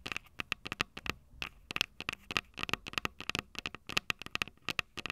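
Long purple nails tap and scratch the metal mic capsule heads of a small Tascam DR-05 handheld recorder with a plastic body and two metal capsules. About 26 quick, sharp clicks and scratchy ticks land in an irregular rhythm, each dying away almost instantly. The sound is bright, with a clear ring near 2.7 kHz and very little low end.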